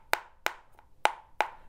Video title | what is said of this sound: 8 Problems with the Ruger American | this is a very lightweight rifle but it sounds like a woodpecker